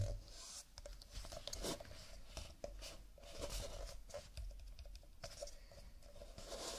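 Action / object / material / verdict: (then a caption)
tap / stack of nested paper cups / paper / none. A fingerless-gloved hand grips a stack of nested, empty cardboard cups lying tilted on a table, its fingertips tapping and rubbing the printed paper surface. Quiet, dry taps with soft low thumps mix with crisp, scratchy rubbing that carries a bright papery hiss, each tap dying away quickly.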